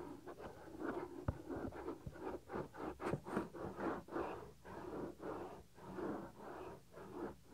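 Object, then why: Silicone ear cover of a binaural microphone. A fingertip rubs the small, solid, white soft silicone ear cover on a 3Dio binaural microphone. Close, muffled strokes of rubbing and scratching pulse in a steady rhythm, with the energy sitting in the low and middle range and almost nothing bright. A couple of sharper tap-like clicks stand out early in the clip.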